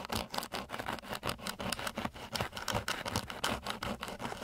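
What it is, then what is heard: Coarse sandpaper scratched with wood. A flat wooden stick held at varying angles scratches and rubs across a flat, gritty sheet of coarse sandpaper. It makes a fast, uneven series of rough, broadband scraping strokes with a bright, hissy edge, each stroke cutting off sharply.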